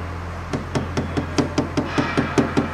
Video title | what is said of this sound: basic&tpye rating training video | A solid sound means no damination has taken place. A soft sound indicates a damaged area.